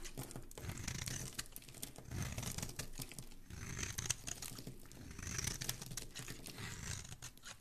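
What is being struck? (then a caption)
Bar of soap. A dark metal blade is scraped and carved across a hand-held, palm-sized, solid rectangular teal bar of soap embossed "DISCOVER," shaving off curls and flakes. The result is a continuous crackly, tearing scrape with a soft low rumble beneath and bright, crisp high edges, swelling and easing in irregular strokes.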